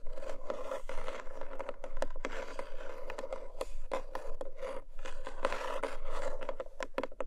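Long nails scratch and tap the textured lid of a small, long, closed black cardboard jewelry gift box. The result is a steady rough scraping mixed with quick, sharp taps. The lid gives off a hollow ring of about 520 Hz.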